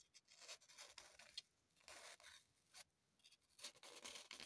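A small, solid, unwrapped green floral foam block is held in the hands and scratched and dug into with long, pointed acrylic nails. The result is quiet, dry, crumbly scraping in short, uneven bursts, bright and hissy with almost no low end, separated by brief pauses.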